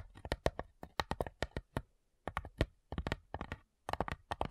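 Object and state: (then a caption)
Wooden cigar box tapped with nails. Long nails and fingertips tap the top lid of a small, hollow, light-wood cigar-style box with brass clasps. About 24 quick, dry clicks come in three bursts separated by short silences. Each tap is crisp and bright with a faint hollow low knock beneath it, dying away almost instantly.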